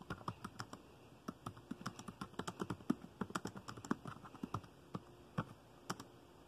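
Fingertips of both hands type rapidly on the dark plastic keys of a laptop keyboard, producing about thirty short, dry clicks and taps. Each key strike is quick and crisp with almost no ring, landing in an uneven, fast rhythm.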